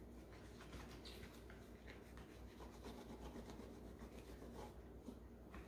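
A rubber-gloved hand wipes the front and drip area of a hollow green plastic Keurig coffee maker, with its reservoir removed, as it sits on a granite counter. A cloth makes steady, quiet rubbing and swishing over a low background rumble, with faint brief squeaks scattered throughout.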